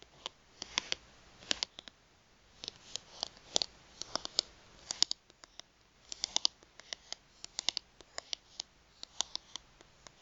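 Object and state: Plastic gift card tapped with nails.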